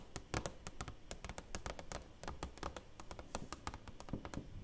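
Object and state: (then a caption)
Framed award plaque with plastic cover. Long nails tap and scratch on the clear plastic front cover of a black-framed silver play button plaque held upright. A quick, steady run of short, dry clicks with bright ticks and soft low thumps, each dying away almost at once, mixed with faint scratchy rustle between taps.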